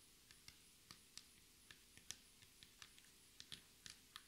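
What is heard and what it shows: Long red nail tips tap rapidly with both hands, typing-like, on a solid black speckled laminate table top. About fourteen quiet, sharp, bright clicks come at an uneven rhythm over a low steady hiss, each dying away almost instantly.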